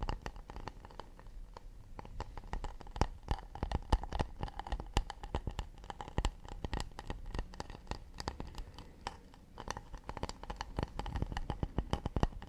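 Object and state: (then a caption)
Acacia wood plate. An acacia wood plate is tapped and scratched with the fingers in quick, delicate bursts. The result is dense, short, dry clicks with a soft low thump beneath them, and faint scratching in between. The taps die away almost instantly.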